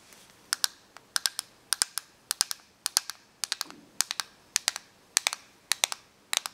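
Long nails tap and scratch the casing of a small, hollow, clear plastic correction tape dispenser with a green reel. About 30 sharp, bright clicks land in quick pairs and small clusters, each dying away almost instantly. A faint, soft scratch sounds between them, with no low rumble.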